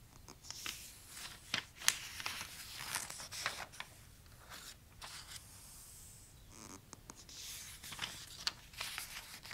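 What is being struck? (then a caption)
Thin glossy paper catalog pages. Fingertips slide and trace across the thin glossy paper pages of a large open toy catalog lying flat while the pages are turned. Quiet, bright papery swishes and rustling are heard, broken by sharp crinkly snaps as pages lift and flip.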